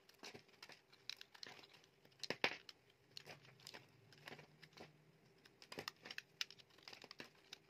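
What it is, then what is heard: Soap bar being carved. A utility knife blade scrapes and carves chips from the face of a solid, dry red Freshman soap bar held in the hand. The cuts make quiet, bright, crinkly scraping strokes in a rapid, uneven series, with a few sharper, louder cuts. Each stroke stops almost at once, with no ring.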